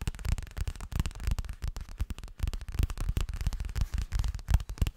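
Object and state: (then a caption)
Fabric cosmetic pouch. A yellow zippered fabric toilet bag, probably coated and hollow, is held sideways and rapidly tapped and scratched with fingertips. The result is a dense, continuous run of dull, low, thumpy taps with almost no ring, mixed with a faint crackly scratching texture.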